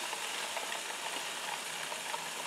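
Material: Nothing is struck.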